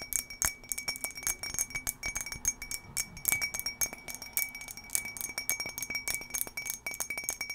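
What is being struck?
Embossed glass drinking tumbler.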